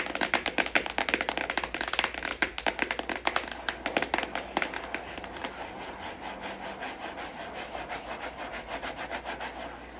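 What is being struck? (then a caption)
Printed cardboard box. Long acrylic nails tap and scratch the front face of a printed cardboard retail box for a studio microphone, held upright, hollow with its contents inside. A quick run of sharp, bright, dry clicks fills the first half, then gives way to softer, continuous scratching with faint ticks and almost no low end.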